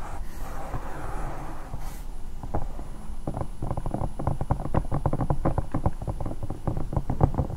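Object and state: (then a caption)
Silicone night lamp. Long nails scratch and tap the sides of a bear-shaped, hollow silicone night lamp. A soft, breathy scrape for the first two seconds gives way to a fast run of dull, muffled taps. The taps are deep and stop almost instantly, with no ring.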